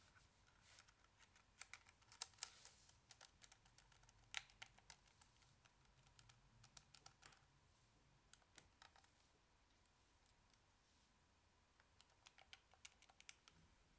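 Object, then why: Plastic calculator keys. A handheld Casio scientific calculator with a small, hollow grey and white plastic body and rubber and plastic keys is held in one hand and tapped on the keys with fingertips. Rapid, quiet, bright key clicks come in irregular bursts with brief pauses and a faint low hum underneath.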